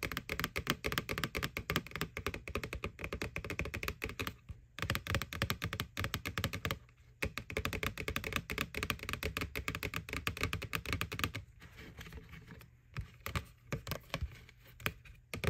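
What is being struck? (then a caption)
Plastic bucket. Fingernails tap rapidly on the side and rim of a white hollow plastic McDonald's Boo Bucket, a Halloween bucket. The dense run of dry, clicky taps carries a hollow low thump, with each tap dying away almost instantly. The tapping pauses briefly near 4.5 and 7 seconds and softens around 11.5 to 12.5 seconds.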